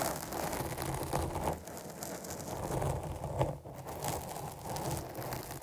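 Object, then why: Foam microphone windscreen. Long nails scratch down over the rounded top of a dark foam microphone windscreen, making a steady, close, crackling rustle with a heavy low rumble. The scratching swells and briefly eases in uneven strokes, dipping quietest just after the midpoint before building again.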